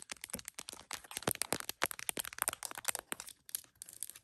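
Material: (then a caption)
Plastic. Long acrylic nails tap rapidly on the back of an iPhone in a smiley plastic case mounted on a tripod, hitting both the case and the camera lenses. The taps are sharp, dry clicks with a bright high edge and almost no ring, coming in quick, uneven bursts throughout.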